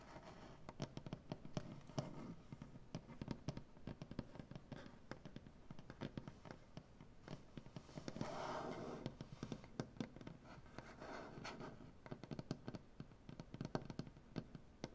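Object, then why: Wooden butcher block tabletop. Long dark-painted nails tap and scratch across a solid light wood butcher block tabletop. Quick, dry, dull taps come in dense, uneven runs, with a longer rasping scratch swelling in the middle. The knocks are low and woody and die out almost at once.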